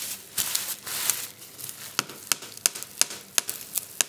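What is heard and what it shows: Fingertips and a palm press and rub across a flat sheet of clear plastic bubble wrap lying on a table. Bright, hissy crinkling and rustling give way to a series of sharp, dry pops that cut off almost instantly, with nearly no low end.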